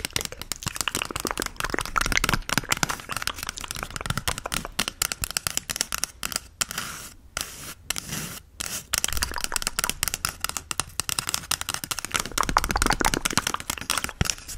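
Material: Cardboard.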